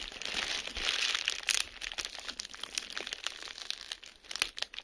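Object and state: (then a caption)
Plastic bubble wrap. Clear plastic bubble wrap lies flat while individual air bubbles are pinched and popped between fingertips. A dense bright crinkling in the first second and a half gives way to a string of sharp, short pops at an irregular pace. The sound stays almost entirely in the high range, with very little low end.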